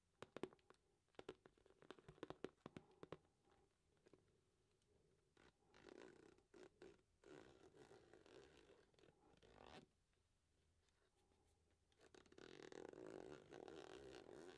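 A medium-sized, hollow, soft-sided light blue glossy patent faux leather zip pouch from Ted Baker, a wash bag or clutch with a rose-gold zipper and a bow clasp, is held upright in one hand. Fingertips and nails tap, scratch and rub its glossy front, with a run of sharp quick clicks at first. These give way to longer soft scratchy rubbing passages, and some of the sound may come from the zipper.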